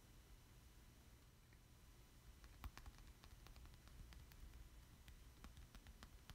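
The back of a thin, solid black plastic amiibo card, held in both hands, is tapped and traced with fingertips and short nails. After a couple of seconds of low, quiet rumble, a scattered series of brief, crisp clicks with bright edges begins and continues to the end.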